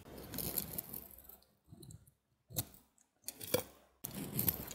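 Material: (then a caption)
Soap. A utility knife blade shaves and carves the edges of a solid white Ivory soap bar with remnants of a black coating, held in the hand. Crisp, bright cutting and scraping sounds come in several short bursts separated by brief silences.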